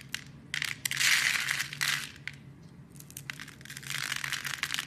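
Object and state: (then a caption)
Bar soap being carved. A metal blade scrapes and carves a solid rectangular orange-and-cream striped bar of soap held in a hand, breaking it into crumbly shavings. Dry, bright crunching and scratching comes in uneven bursts, loudest early on, then eases before swelling again toward the end.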